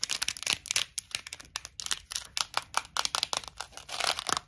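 Long nails tap and scratch the top and lid of a small, clear plastic Tic Tac box full of mints. A rapid, uneven run of crisp, bright clicks and scrapes is heard, each dying away almost at once, with almost no low end.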